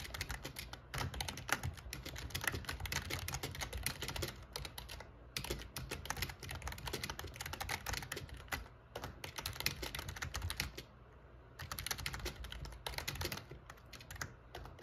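Fingertips type steadily on the black plastic keycaps of an RGB plastic membrane gaming keyboard with a metal plate, producing rapid, short, bright clicks and clacks. The bursts of typing are broken by brief pauses, over a steady low hum.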